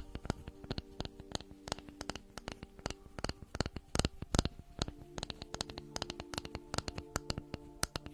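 A flat, round, light-coloured solid wooden board held in the hands close to the microphone is tapped and scratched with long manicured nails. Many quick, dry taps and clicks with very short decay mix with soft scratching, each tap bright at the top with a low, hollow body underneath, set over a faint steady hum.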